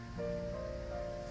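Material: Nothing is struck.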